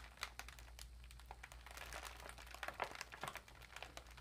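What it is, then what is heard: Empty foil-lined plastic bag. Long nails tap and scratch an empty, foil-lined metallic plastic cat food bag lying flat with its bottom edge folded. The result is a quiet, steady run of sharp, bright crinkles and clicks over a low, constant hum.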